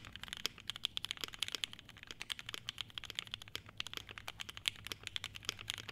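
Both hands type continuously with fingertips on an E7-V2 75% mechanical keyboard with a clear polycarbonate case, polycarbonate plate, SP Star Meteor White switches and ABS keycaps. Dozens of quick, crisp, bright clacks follow one another in an uneven rapid rhythm, each dying instantly with almost no low end.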